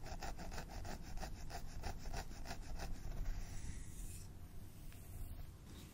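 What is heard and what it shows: A wooden fine-tooth comb is dragged through long, straight synthetic blonde hair near the parting of a mannequin training head, while fingertips hold the strands. Quick, rhythmic scratchy strokes repeat for about three seconds over a steady low rumble. They then fade into a softer, continuous brushing rustle.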